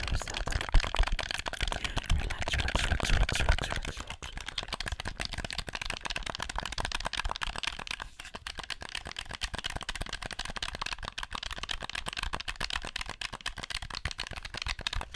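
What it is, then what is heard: Plastic game controller. Fingertips and nails click and tap the buttons and shell of a black, hollow plastic handheld game controller held in both hands close to the mic. Rapid, irregular, dry clicks and taps run throughout, louder and fuller with a low thump in the first four seconds, then settling into lighter, steady clicking.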